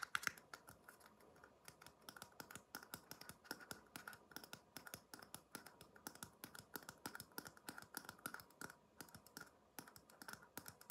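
A small, empty red paper cup, held upside down in one hand, is tapped with the fingertips of the other hand. The result is a quiet, steady stream of dozens of quick, light taps, each dry and clicky with a short hollow ring around 1.4 kHz and a bright edge. No tap lingers.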